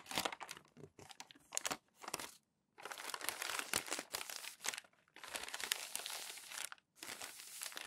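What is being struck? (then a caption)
Glossy magazine paper pages. Crumpled glossy magazine sheets stacked on a table are smoothed, rubbed and crinkled flat by fingertips and palms. Dense, bright crackling and rustling comes in bursts with short silent gaps, with almost no low end.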